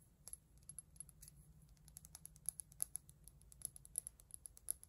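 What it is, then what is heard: Empty frosted glass dropper bottle. Long nails tap rapidly on a small, hollow, empty frosted glass serum bottle from The Ordinary, which has a white dropper cap and a paper label. The result is a quiet, steady stream of sharp, bright clicks with a faint high glassy ping and no lasting ring, over a low background hum.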